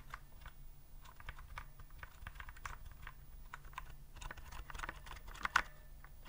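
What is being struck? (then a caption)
Plastic typewriter-style keyboard. Fingertips type steadily on a white plastic typewriter-style keyboard with round keycaps, held upright. Soft, rapid plastic clicks and taps sit over a faint low hum, with one sharper, louder clack near the end.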